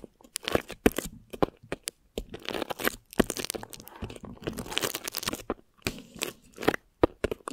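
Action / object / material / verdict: scrape / thin plastic wrap stretched over a microphone / plastic film / none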